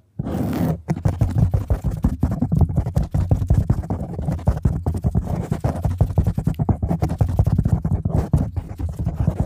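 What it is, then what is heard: Foam microphone windscreen. Long nails rapidly scratch and tap on a black foam microphone windscreen. The result is a dense, continuous stream of deep, muffled thumps and rustling scrapes, heavy in low rumble with almost no bright content. It starts with a short rushing burst before settling into the steady rapid pattern.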